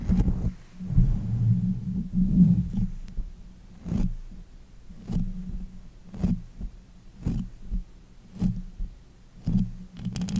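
Both hands with long nails rub and pat the uncovered, hollow metal mesh head of a pink condenser microphone. Dull, deep rubbing rumbles come first, then a steady series of short, boomy thumps with a faint bright edge that die away quickly.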